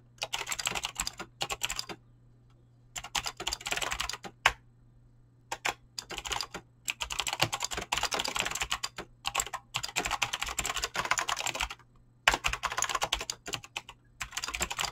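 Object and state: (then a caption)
Mechanical keyboard with PBT plastic keycaps. Fingertips type fast on a mechanical keyboard with clicky green switches and PBT plastic keycaps. Bursts of sharp, bright clicks come in rapid runs, broken by short pauses near 2, 5 and 12 seconds. A faint steady low hum sits underneath throughout.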